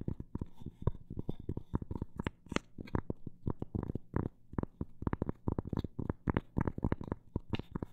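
A round, solid, flat cork coaster with a printed flower design, held up close, is tapped and lightly scratched on its cork surface with long black nails. A quick, uneven run of soft, dull taps with a low thump around 100 Hz and very little brightness, each dying away almost instantly, varies between fast and slower patches with faint scratchy rustle in between.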